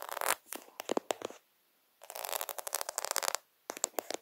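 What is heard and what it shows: Fingertips scratch fast and aggressively across a plastic faux half-pearl sticker sheet held close to the lens, producing bursts of dry, bright clicking and rasping with no low end. The sound comes in three flurries separated by brief silences, each made of rapid sharp ticks that stop instantly without ringing.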